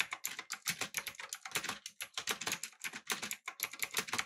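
Fingertips type rapidly on a backlit, typewriter-style mechanical keyboard with blue switches, an aluminum body and round plastic keycaps. A fast, uneven stream of sharp, bright clicky keystrokes follows, each dying away almost instantly, with almost no low end.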